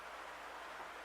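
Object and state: Nothing is struck.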